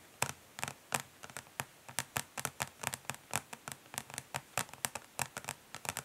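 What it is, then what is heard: Plastic makeup palette tapped with fingernails. Long nails of both hands tap quickly and lightly scratch the ridged underside of a flat, rectangular, hollow plastic eyeshadow palette lying face down on a grey surface. Around 28 dry, bright clicks come in an uneven, fast patter, each dying away almost instantly, with soft scratchy texture in between. The sound stays quiet overall, with almost no low-end weight.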